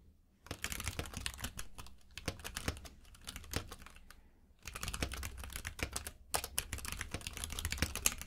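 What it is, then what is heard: Plastic mechanical keyboard. Both hands type rapidly with their fingertips on a compact mechanical keyboard with plastic keycaps in a grey frame, lying on a purple rug. Dense, bright clacks of individual keys run in fast bursts, with a quieter stretch around four seconds before the typing picks up again.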